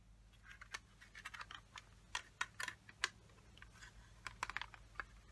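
Long fingernails tap and scratch the lid of a small, closed, hollow yellow plastic watercolor palette case. About sixteen quick, dry, bright clicks come in irregular bursts, with brief scratchy rasps between them and no ring after each hit. A faint low hum sits underneath throughout.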